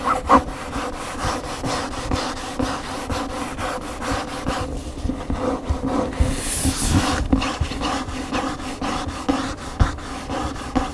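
Fingernails scratch the front cover of a large upright hardcover cookbook near the spine, then move to its glossy back cover. The result is a steady, rhythmic series of dry scratching strokes with a low, papery body, interrupted briefly by a brighter swishing sweep partway through.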